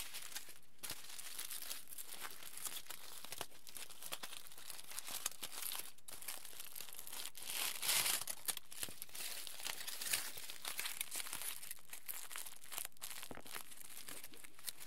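A small piece of aluminium foil is crumpled, opened and folded flat by the fingers of both hands. Dense, bright crinkling and crackling runs throughout, with a louder burst of crumpling around the middle.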